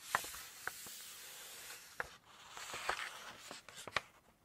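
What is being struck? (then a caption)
Glossy paper cookbook pages. Long nails rub and scratch the glossy paper pages of a Chinese cookbook open at the Seafood section, and a page is turned. A soft, steady, bright hiss of rubbing is punctuated by six sharp, short clicks and taps. A louder crinkling swell comes as the page moves, and the scratching then fades quietly.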